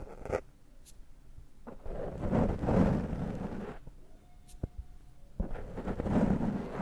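Fingertips scratch and pick at a dark foam microphone windscreen held in one hand. The result is close, muffled, low-heavy crackling and rustling that swells in several louder bursts, with quieter gaps and a few sharp ticks between them.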